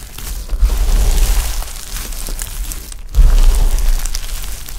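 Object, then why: Pile of soap shavings and flakes. A large heap of brittle, colourful dry soap chips and flakes on a tray is scooped, squeezed and let fall by bare hands. The result is dense crunching and rustling, with a deep, heavy low-end rumble that swells twice.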